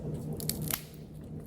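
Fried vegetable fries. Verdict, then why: Crisp. Golden, seasoned fried vegetable fries (not French fries) are handled and broken apart, giving a few short, sharp crunching crackles over a low steady hum. The crunch shows the fries are very crispy, extra crispy.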